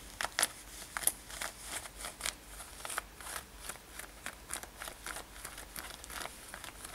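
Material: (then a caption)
Denim. Long nails grip and scratch the fabric near the side edges of a worn light-blue denim lace-up top. The result is a quick series of short, crisp, bright scratching and crinkling bursts over a quiet, steady background hiss.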